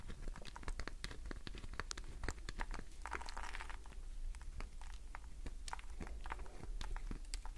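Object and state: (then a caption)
Glycerin soap bar scratched with nails. A solid green glycerin soap bar held in the palm is scratched across its surface by long nails, carving off shavings. Quick, dry crackling scratches and clicks repeat throughout over a low, steady hum, with a brief brighter scraping swell near the middle.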